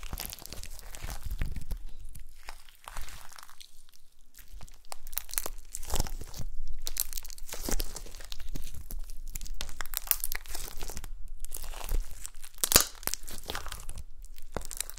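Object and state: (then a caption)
Gold glitter slime. Soft gold glitter slime is folded on a table and pinched and pressed with long nails and fingertips. The result is a continuous stream of sticky crunching, crackling and squishing, with brief bright pops and clicks from the nails.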